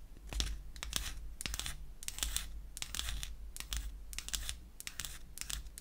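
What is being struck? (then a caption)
Small wooden lipstick case. Long acrylic nails scratch the surface of a small, light wooden lipstick cylinder with a cap seam, held in the hand. The result is a quick series of dry, bright, rasping scratches in short bursts, over a steady low hum.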